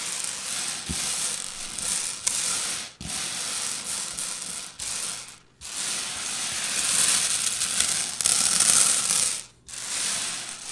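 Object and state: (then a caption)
Loose candy-coated candies being raked. Two hands with long purple nails rake and scratch through a layer of small, hard-shelled orange, yellow and brown Reese's Pieces candy-coated peanut butter candies spread on a white table. The loose pieces make a dense, bright, rattling clatter that runs almost continuously, with brief pauses between strokes.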